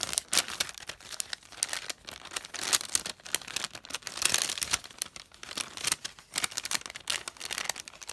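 Fingertips with long painted nails separate a thin translucent glassine paper sheet from a stack of flat, empty glassine bags, rubbing and crinkling it. The clip is full of dense, bright, dry crackles and rustles with almost no low end, rising in short bursts throughout.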